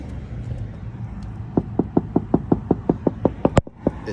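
A 2016 Palfinger box truck liftgate's hydraulic oil reservoir, which has no sight glass and shows no visible liquid, is knocked on in a quick, steady run of about a dozen sharp, short knocks over a low background rumble. It sounds empty, suggesting low oil as the reason the liftgate won't go up, so oil is to be added.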